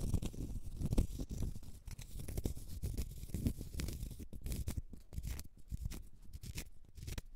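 Long red nails scratch the face and side of a small, solid, round cork stopper held in the fingers. The result is a dense run of short, dry scratching strokes, mostly low and muffled with faint bright edges, and no ring after each stroke.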